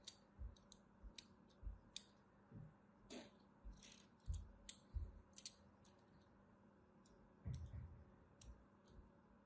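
A solid purple striped bar of soap is held in the hand while a thin metal blade scores lines into its surface. The result is a quiet series of short, dry scratching clicks, each with a low thump and a bright crisp edge, set over a faint steady hum.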